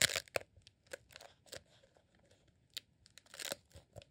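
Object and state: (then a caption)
Rolled beeswax sheet candle. A green honeycomb beeswax tube, a rolled beeswax sheet candle, is held in both hands and squeezed and scratched with the fingertips. It gives off short, bright crackling and crinkling bursts separated by near silence, with almost no low end and no ring after each sound.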